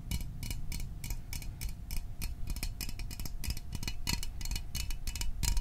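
Fingernails tap rapidly on the sides of a small, hollow Fanta orange aluminium drink can held close to the microphone. The taps are short, bright, dry clicks with almost no ring, over a steady low rumble and a faint constant hum.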